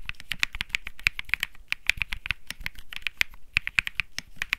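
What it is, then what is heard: Mechanical keyboard with plastic keycaps. One hand types fingertip keystrokes on a white Think 6.5 mechanical keyboard with plastic keycaps and Bsun Lollipop switches. It makes a quick, steady run of crisp, bright clacks centred around 2.4 kHz with a light low thud under each press. Each keystroke cuts off almost instantly with no ring.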